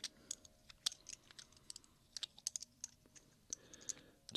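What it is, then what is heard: Stacks of silver dollar coins clicked together. Two small stacks of large old solid-metal silver dollar coins, one held in each hand between fingertips and thumbs, are clicked together over a pile of silver coins on a black cloth. About twenty quick, sharp, bright metallic clicks come at an uneven pace, each dying out almost instantly and never building into a ringing tone.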